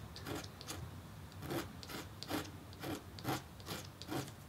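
A red-handled metal stylus scratches and hatches lines into the black coating of a flat, thin copper-foil scratch-art board. A steady series of short, dry rasping strokes with a bright, scratchy edge is heard, each stroke fading quickly over a soft low rumble.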